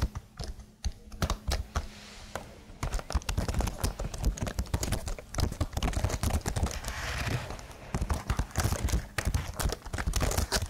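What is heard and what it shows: A slim, hollow black plastic computer keyboard with marble-patterned sticker keys is held close, and long blue-painted nails type and tap across it. The first few seconds bring sparse, separated clicks over a faint low hum, then a dense run of rapid, crisp clacks with a hollow low body that continues to the end.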